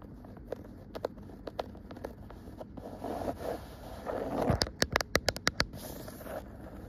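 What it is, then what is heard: Woven cotton rug. A cream woven cotton rug with dark dotted stripes is scratched and tapped with long nails. Soft, rustling scratches run through the clip, broken by sharp, dry taps. Near the end comes a quick, evenly spaced run of brighter taps.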